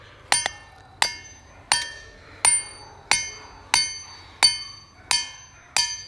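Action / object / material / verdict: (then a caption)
strike / large boulder struck with a hammer / rock / ringing. A hammer strikes a big, heavily worn boulder at Ringing Rocks Park in Upper Black Eddy, Pennsylvania, 10 times at a steady pace. Each strike gives a bright, bell-like metallic ring centered high that decays quickly. The rock rings as expected for a heavily worn boulder.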